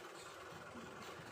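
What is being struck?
Nothing is struck.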